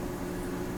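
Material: Nothing is struck.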